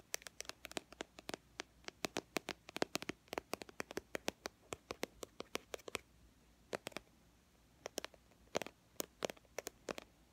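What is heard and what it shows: A small white and teal plastic BB cream squeeze tube, held in one hand, is tapped and scratched along its body with long fingernails. About fifty quiet, dry, sharp clicks come in a rapid run for the first six seconds, then in sparser clusters after a brief pause. Each click is bright with almost no low end and dies away instantly.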